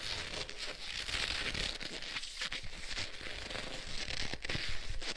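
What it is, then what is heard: Leather gloves rubbed together. Black leather gloves on both hands are rubbed and pressed together, palms and fingers working against each other. The leather gives a steady, crinkly creaking and friction with bright rustling hiss and small crackles over a low rumble.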